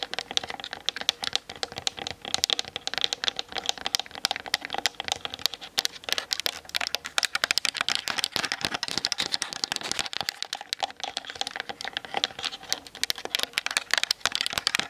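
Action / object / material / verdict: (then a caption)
tap / plastic camera body and lens / plastic / none. Long acrylic nails tap rapidly on the hollow plastic body and plastic zoom lens barrel of a Canon DSLR on a tripod, with the camera's own built-in mic on the object being tapped. A dense, continuous stream of dry, bright, clicky plastic taps peaks around 3.3 kHz, with no low end and no ring after each hit.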